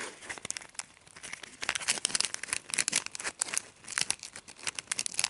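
A fingertip and nail rub and crinkle the pleated edge of a small, hollow, empty orange paper cupcake liner held up close. The result is a dense run of crisp, bright crackles and scratchy rustles with almost no low end, rising and falling in quick bursts.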